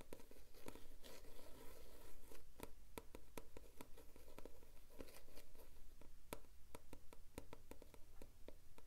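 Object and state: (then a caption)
Paperback book cover tapped and scratched. Fingertips and nails tap and scratch the front cover of a thick, closed paperback book, "Verhalen uit de Ambulance," with a glossy yellow printed card cover and a solid block of paper, held in both hands. Many quick, sharp taps stand out over a continuous soft scratching and rustling texture throughout.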